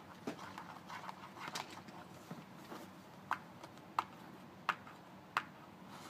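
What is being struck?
Thin paperboard toothpaste box.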